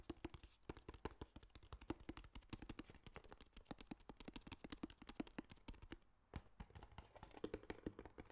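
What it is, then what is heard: Cardboard box tapped. Quick fingertip and nail tapping on the faces and edges of a small, hollow, rigid tan kraft cardboard box. It makes a rapid, steady patter of dry, short hollow knocks with a low-mid body, and there is a brief pause near the six-second mark before the tapping resumes.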